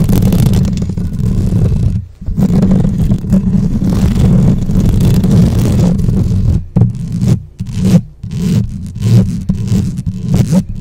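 Long nails scratch and tap fast across the top and sides of a black microphone's rounded metal mesh grille with a hollow head. The result is a dense, boomy, low rumbling scrape with almost nothing bright. It breaks off briefly near two seconds and turns choppier and more uneven in the second half.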